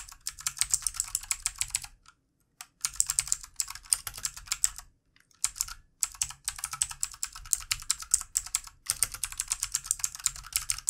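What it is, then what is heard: Plastic mechanical keyboard being typed on. Fast fingertip typing with both hands on a full-size backlit plastic mechanical computer keyboard with plastic keycaps. Rapid, bright, crisp key clicks arrive in dense bursts, broken by two short pauses. Each click is sharp and dies away almost instantly.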